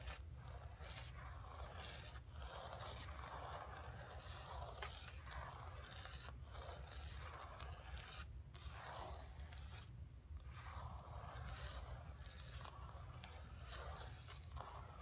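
Long fingernails scratch and rub across the textured paint of a flat painted canvas board resting on carpet. The result is a continuous, bright, dry scraping with short rasping strokes over a steady low rumble.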